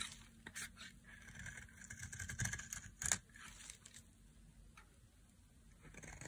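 A solid, dry white bar of soap is held in the hand and shaved with a knife blade into flaky white curls. Soft, bright scraping and crisp cutting strokes repeat throughout, with the sharpest cuts near the middle.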